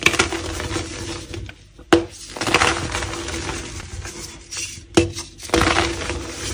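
A solid dyed gym chalk block, black to grey, is broken into two halves, and each half is squeezed and crumbled by fingers with dark painted nails. Dry, powdery crunching runs steadily throughout, broken by a few sharp, bright snaps that die away almost instantly.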